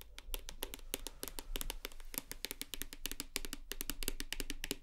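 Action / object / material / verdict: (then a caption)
tap / plastic shower gel bottle / plastic / none. Long nails tap rapidly on the side of a full plastic shower gel bottle held upright. The result is a quick, steady run of short, dry clicks with bright highs, each dying away almost instantly over a faint low background.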